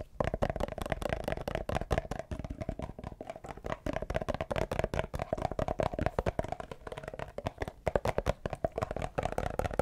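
A small labeled plastic Repel insect repellent bottle is held in front of a microphone and scratched and tapped with fingernails. The result is a dense, continuous run of quick, dry clicks and scratches with a hollow mid-range tone and soft low thumps, each tap dying away almost instantly.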